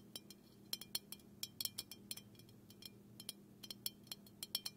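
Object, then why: Small aluminium aerosol can. Fingernails tap repeatedly on the side and bottom of a small, hollow, black aluminum aerosol can held in one hand. About 21 quick, bright metallic clinks ring high and die away almost at once, in irregular clusters over a faint, steady low hum.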